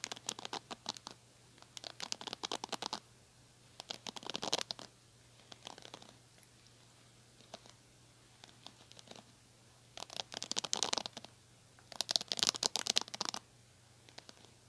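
Long nails scratch the black bristle pad and plastic frame of a small metallic-pink plastic hair brush. Bright, dry scratching and crackling come in irregular clusters of quick strokes, separated by quiet pauses over a faint steady low hum.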